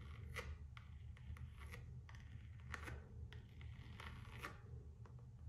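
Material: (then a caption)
Coated canvas. Long acrylic nails scratch and rub the floral coated canvas strap of a single Gucci slide sandal held up on its side, its rubber sole showing. Quiet, brief, bright scratchy strokes rise and fade over a steady low rumble throughout.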